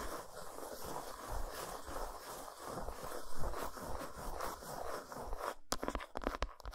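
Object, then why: Solid dark chocolate bar. Long nails scratch the flat back side of an unwrapped solid dark chocolate bar resting on a towel. The result is a steady, dry, rasping scrape that is heavy in the low end. Near the end it breaks into sharper, brighter, separate scratches.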